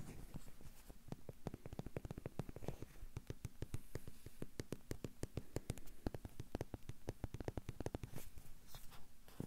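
A small hollow yellow rubber or vinyl bath duck is rapidly tapped and scratched with fingertips and nails across its base and body. This produces a steady stream of quick, dry, close-up clicks with a deep, hollow low thump and very short ring, interspersed with faint scratchy texture.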